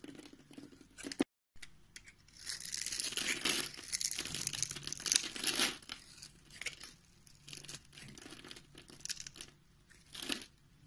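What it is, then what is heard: Bar soap being cut. A green-handled utility knife blade cuts into the pre-scored grid of a palm-sized solid pink bar of soap held in the hand, then scrapes it so small cubes crumble off. Crisp, bright scraping and crunching comes in irregular strokes, with a brief silence early on, a dense stretch of cutting in the middle, lighter scrapes after, and one more burst near the end.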